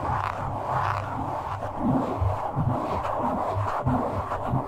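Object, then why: Foam microphone windscreen. Fingertips of both hands rub and scratch a soft, porous black foam windscreen on a microphone. The result is a steady, muffled scratching and rustling with a dull midrange hiss and soft low thumps, with no bright content.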